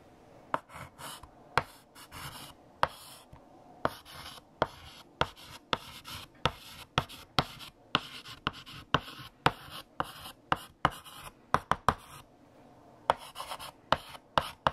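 A stick of lilac chalk held in the fingertips scratches across a large, solid, flat black chalkboard with a painted surface while writing text. About 24 sharp, bright taps and short scratchy strokes sound over a low, steady background hum. The strokes come in quick irregular bursts with brief pauses between them.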